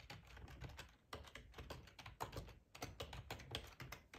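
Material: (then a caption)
Plastic. Fingertips type on a black plastic ergonomic split keyboard with a hollow housing, resting on a cloth tablecloth. A quick, steady run of short, dry key clicks and taps carries a low, hollow thump beneath bright clacks, each stroke dying away almost at once.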